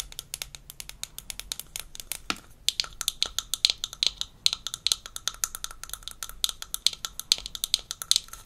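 Long nails tap the rim and base of a small, empty, hollow blue plastic toy rinse cup from a Melissa and Doug Super Smile Dentist Kit and scratch along its sides. The result is a quick, uneven stream of dozens of sharp, bright plastic clicks with very short ring and almost no low end, broken by brief scratchy scrapes.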